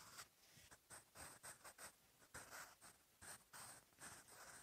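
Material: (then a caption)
Paper. A sharpened wooden graphite pencil, held in the fingers, writes on the lined paper page of an open notebook. Its tip scratches the paper in short, quiet strokes with a bright, hissing texture and brief pauses between them.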